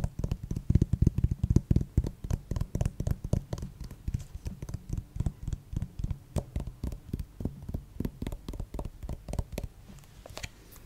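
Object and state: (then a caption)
Plastic acupuncture figure. Fingertips and nails tap and scratch the head of a white plastic acupuncture doll held close to the mic. Rapid, uneven taps land as dull, low thuds that stop almost instantly, with faint bright scratching between them. Near the end the tapping thins out.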